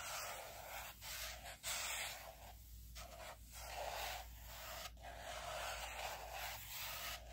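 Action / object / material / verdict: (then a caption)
scrape / laminated cardboard planner cover / laminated cardboard / none. Fingertips and nails rub and scratch the laminated cardboard cover of a teal spiral-bound planner lying flat. The result is a soft, continuous dry hiss with bright scratchy texture, rising and falling in repeated strokes with brief dips between passes. A faint steady low hum sits underneath.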